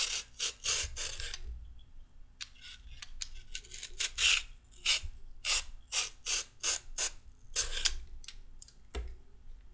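A peeled raw carrot is scraped with rapid strokes of a handheld peeler, with the peel pile on a wooden table. Each stroke gives a short, bright, dense rasp, repeating in quick bursts with brief quiet gaps between them.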